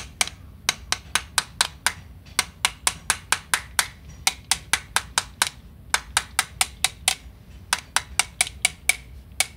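A small two-headed mallet with black and yellow plastic/rubber heads and a metal shaft is tapped by hand across a flat grey cement mortar floor screed beside a concrete wall. There are 33 sharp, bright, dry taps with almost no ring, falling in uneven bursts. The screed sounds hollow in places, marking sections that may have debonded.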